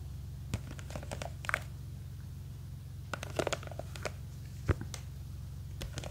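A small clear plastic jar full of blue gel beads is gripped from above while long green fake nails scratch and tap its side. Scattered sharp clicks and crinkly scratches rise above a steady low hum, in bursts near the start, the middle and the end.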